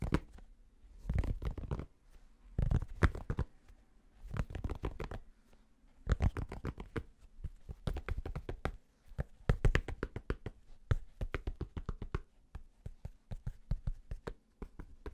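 Fingertips tap and scratch on the underside of the flat purple brim of a black fabric snapback cap. Quick bursts of soft, dull taps come in clusters, with a faint scratchy rustle between them, the sound sitting mostly in the low range with little brightness.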